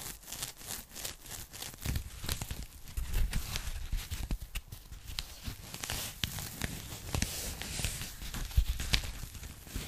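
Long nails scratch, tap and crinkle an empty, thin pink polyethylene foam packing bag as it is held and handled. The result is a steady stream of short, dry crackles and scrapes with low, soft thumps and a bright rustling edge, and the sounds die away almost instantly.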